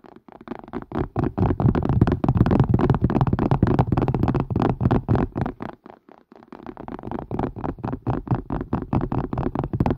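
A plastic and silicone strainer is tapped quickly with the fingers. The rapid, uneven stream of dull, low, short taps fades into a brief pause near six seconds, then resumes at a similar pace.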